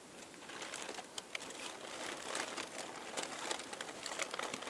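Fingertips with painted nails press, squeeze and crinkle a loose pile of thin, light, crumpled purple and pink tissue paper sheets resting on a table. The result is a steady, bright, airy crinkling with sharp little crackles popping out of it, and almost no low end.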